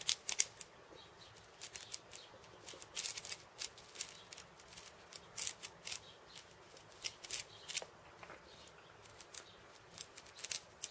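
Fingertips and nails tap and scratch the steel ball chains and the wooden top disc of a cabasa, whose wooden end disc caps a cylinder of steel bead chains. The result is a quiet, irregular series of short, crisp, bright clicks and rattles with almost no low end. Each sound dies away almost instantly.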